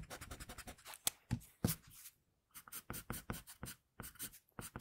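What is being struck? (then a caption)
Graphite pencil scratching on a sheet of drawing paper. An HB wooden pencil with a floral pattern, held by the fingertips, is scratched in drawing strokes across a flat sheet of drawing paper bearing a pencil sketch of a girl, with a protective paper sheet under the hand. Rapid, dry scratchy strokes rasp with bright, hissy edges and a soft low thud beneath, pausing briefly twice before resuming.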